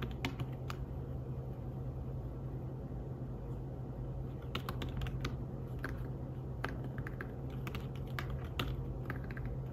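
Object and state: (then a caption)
Fabric-covered tablet keyboard being typed on. Fingertips tap the keys of a slim fabric-covered tablet keyboard while typing. Soft, bright key clicks come in uneven bursts over a steady low hum, with no speech.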